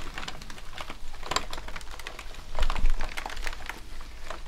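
Gloved hands rub and press two natural sponges across a full-size black plastic gaming keyboard with hollow keycaps, lying flat. Irregular, quick key clicks patter over a soft, scrubbing rub, with a denser, louder stretch of pressing near the end.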